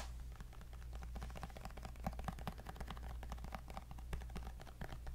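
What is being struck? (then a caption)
Tablet with glass screen in a folio case. Fingernails tap rapidly on the glass screen of a white tablet held upright in a black folio case, making a quick run of sharp, dry clicks with almost no ring. A steady low hum sits beneath the taps.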